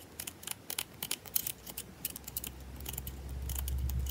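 Long nails scratch and tap the edges and face of a solid bar of soap held in the hand, making quick, dry, bright clicks and scrapes in an uneven rhythm. A low steady hum rises beneath the taps toward the end.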